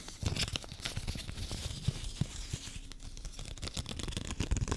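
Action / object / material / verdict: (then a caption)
scrape / folded paper banknote / paper / none. A folded paper 20 dollar bill is rubbed, crinkled and scratched with long fingernails. The result is a steady, dense crackle of papery crinkling and tearing-like scratches, with frequent sharp clicks, soft low thumps and a bright hiss across the whole clip.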